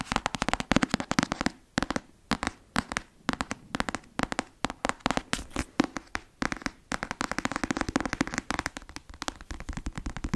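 Long fingernails tap and scratch the laminated cover of a closed black paperback novel held upright. The result is quick bursts of sharp, dry clicking taps mixed with brief scratchy strokes, each tap dying away almost instantly, with short pauses between the clusters.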